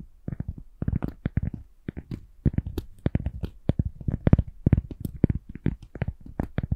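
A cork is tapped gently with a rapid, uneven run of about thirty soft, dull taps. Each tap is short and low-pitched, with no ring after it.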